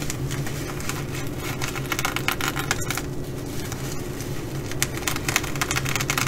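Long nails on both hands scratch and tap the flip sequins of a blue reversible sequin fabric bag, making dense, bright, crackling rasps and quick clicks. The scratching runs steadily throughout over a constant low hum.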